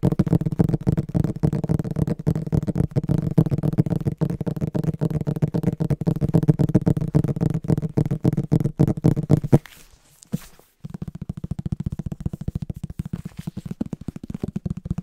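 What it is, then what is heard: Hardcover book tapped. Short nails tap and scratch the cover and spine of a large green hardcover book in a quick, uneven stream of dull, low knocks. The tapping pauses briefly just before the ten-second mark, then picks up again at a similar pace until the end.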